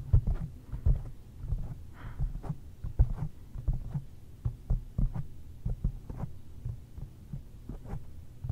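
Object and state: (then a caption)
Foam microphone windscreen. A large round black foam windscreen covering a microphone is tapped with the long painted fingernails and fingertips of both hands. It makes an irregular run of soft, muffled, deep thumps that stay almost entirely in the low range, with brief faint clicks above and a steady low hum underneath.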